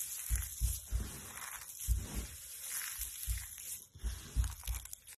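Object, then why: Soap flakes. Bare hands scoop and crush handfuls of dry, brittle, pale yellow soap flakes between fingers and palms. Soft low thumps come with crisp, bright crunching and crumbling. The squeezes repeat unevenly, and each crunch dies away quickly.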